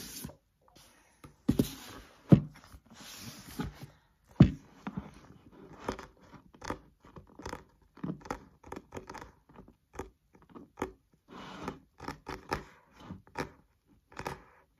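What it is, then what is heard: Paperback book, solid. Fingertips and nails tap and scratch the card cover of a thick green paperback textbook held upright on a desk, and the book is solid. Short, dry, quiet taps come in a loose, uneven rhythm, mixed with brief scratchy rustling bursts and bright clicks from the nails. Each tap dies away almost instantly, with no ring.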